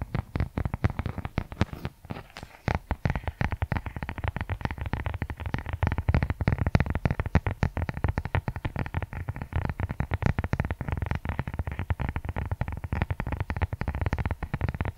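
Fingers rapidly scratch and tap the leather cover of a brown leather journal with a tie string, held in both hands. A dense, continuous stream of short, dry, muffled taps and scratches runs throughout, mostly low and thumpy with very little brightness, each tap dying away almost instantly.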